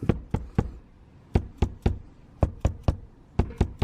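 Roof sheathing is tapped along a chalk line to check for a wooden rafter underneath, giving twelve short, dull, low thuds in four groups of three with almost no ring. The solid sound confirms the spot sits directly over a rafter.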